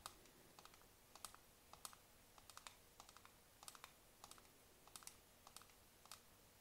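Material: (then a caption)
Plastic. Long nails and fingertips tap and click on a hollow black plastic computer mouse resting on a mouse pad. Quick, bright, dry clicks come in uneven bursts over a low, steady background hiss, each dying away almost at once.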